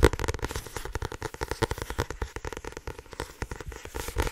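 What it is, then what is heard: Paperback book being tapped. A small paperback book with a blue printed card cover and a solid block of paper pages, held in both hands, is tapped and scratched fast on its cover and edges with long painted nails and fingertips. The result is a rapid, dense run of short, dry taps with a low, papery thump, mixed with light scratching and crackle and almost no ring.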